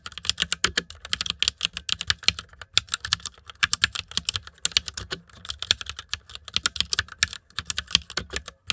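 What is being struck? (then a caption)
Plastic mechanical keyboard. Fingertips tap across the keys of a white, backlit plastic mechanical keyboard. Quick, bright clicks with almost no low end come in uneven bursts, each one dying away almost instantly. The typing pauses briefly a few times before the steady clatter resumes.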